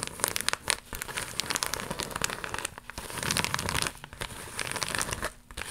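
An empty, flat, iridescent holographic plastic mailer pouch with an embossed surface is flexed and scratched with long nails. Dense, bright crinkling and crackling fill the clip in irregular bursts with short quiet gaps, each sound dry with no ring.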